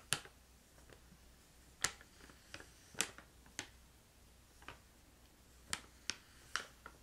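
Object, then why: Plastic pouch of crystallized ginger. A filled brown-red plastic pouch of crystallized ginger is flicked and tapped with fingernails and fingertips. About nine sharp, bright, snap-like clicks die away almost instantly, spread out over quiet gaps with a faint low background hum.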